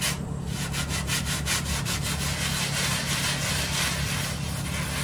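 A dry brown plush microfiber bath mat on a tile floor is scrubbed with a small hand brush in quick strokes. Repeated bright, raspy brushing swishes of about two and a half per second run over a steady low hum.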